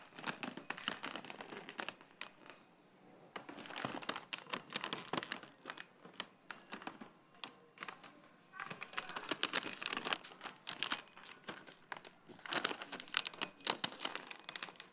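A full, small plastic pouch of coconut quinoa granola is held over a supermarket cart and squeezed with fingertips and long nails. It gives dense, bright, crisp crinkling in bursts, with brief quieter gaps between them.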